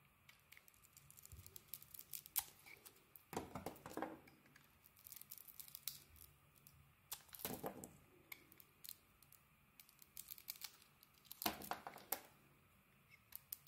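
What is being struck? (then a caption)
Bar of soap cut with a metal blade. A metal utility blade carves into a solid pink bar of soap with a translucent core, held in the hand. Quiet, crisp scraping and flaking ticks are broken by three longer, fuller shaving strokes that rasp brightly before fading back to light clicks.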